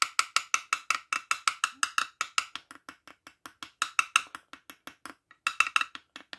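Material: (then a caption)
Sheet metal. About 30 quick taps on the metal ballast housing of a 1960 industrial strip light, tapped further back along the same housing. Each tap is a sharp, bright, short knock with a faint high ring, landing at an uneven pace and varying in loudness, with a brief pause just after the five-second mark. This section sounds hollow, indicating that a capacitor is housed there.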